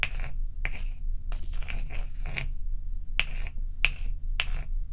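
A large, solid, bowl-shaped block of ice with a frosty top rests on a black towel, with loose ice cubes sitting untouched at its edge. Fingertips and long acrylic nails tap and scratch its surface, making short, sharp clicks around 2.6 kHz and bright, hissing scrapes in an irregular rhythm. A steady low rumble runs underneath throughout.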